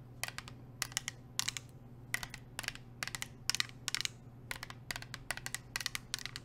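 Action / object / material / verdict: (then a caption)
tap / painted metal water bottle / painted metal / none. Long acrylic nails wearing metal nail rings tap and scratch a medium, hollow, insulated water bottle with a navy blue painted metal finish (likely stainless steel), held upright in one hand. Quick clusters of bright, dry clicks and scratches come in short bursts, each dying away almost instantly with no ringing. A steady low hum runs underneath throughout.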